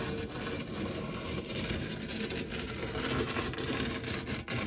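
A white silicone spatula scrapes and rubs the dark, textured nonstick base and fluted edge of a shallow, round metal tart tin that is empty apart from crumbs. A steady, gritty rubbing and scraping noise runs throughout, with a soft low rumble and a faint bright hiss above it. The sound dips briefly near the end before resuming.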